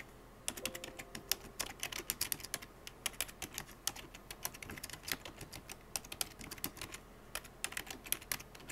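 Fingertips with blue-painted nails tap quickly across a full-size black plastic computer keyboard with hollow keycaps. The result is a steady stream of short, bright, dry clicks and clacks in fast, uneven bursts, with a few louder key strikes and a faint low tone near the start.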